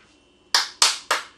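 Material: Plaster.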